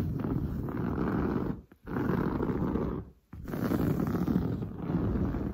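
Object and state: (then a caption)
Woven fabric sofa upholstery. Long blue nails scratch rapidly across padded, grey-brown textured woven sofa upholstery. The result is a dense, low, rumbling rasp in three sustained bursts, separated by two brief pauses.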